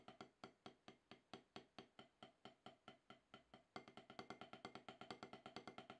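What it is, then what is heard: Rubber drum practice pad. Two wooden-tipped wooden drumsticks play rapid rudiment taps on an octagonal HQ snare practice pad, about 12 inches across, with a gray gum-rubber playing surface on a solid black base, resting on a towel. About 38 short, dry, knocking taps with almost no ring come at an even pace, then turn quicker and denser after nearly four seconds.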